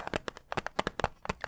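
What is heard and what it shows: Fingertips tap a cardboard CD case for Vampire Weekend's "Contra" album in a quick, uneven series of short, dry taps with no ring. The taps sound muted and soft, centered in the midrange around 830 Hz, because the case is cardboard rather than plastic.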